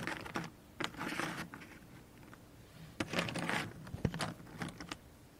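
A heap of small, thin, solid cardboard jigsaw puzzle pieces on a cardboard tray is stirred and spread by the fingertips and long nails of both hands. Bursts of dry, clicking, rattling patter come in clusters with a quieter lull in the middle. The pieces scrape and knock together in short, bright clatters.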